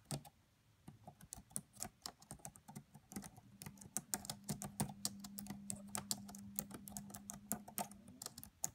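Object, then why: Laptop keyboard with plastic keys. Fingertips with long nails type quietly on the black plastic keys of a red laptop keyboard. A steady run of short, bright clicks and taps sounds, each dying away almost at once. A faint low hum sits underneath through the middle of the clip.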